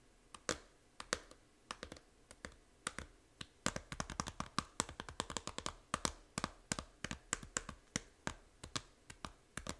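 Long nails tap quickly and irregularly on the front cover of a small, hollow plastic Nintendo 3DS game case for Fantasy Life, making about 47 sharp taps. Each tap is a dry, bright click that stops instantly with no ring, some louder and some lighter, over a faint, steady background hiss.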